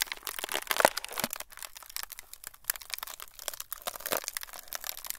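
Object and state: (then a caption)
Frosted plastic sheet. A thin, flexible, semi-translucent frosted plastic sheet is squeezed and crumpled with fingertips. It makes a dense run of bright, dry crinkles and crackles with almost no low end, each snap dying away at once. The crunching is loudest near the start, then settles into steadier, quieter rustling.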